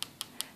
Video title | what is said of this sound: Dual Forms ; Natural Acrylic Oval Nails & Little Giveaway (CLOSED) | as I tap it, I hear that it's ready